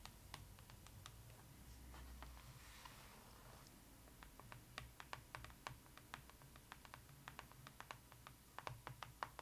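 Long acrylic nails tap and scratch across the glossy printed front cover of a closed, solid, flat hardcover photo book with board covers. Crisp, bright clicks are scattered throughout, with a soft hissing scratch swelling near the start. Every tap dies away instantly over a quiet low hum.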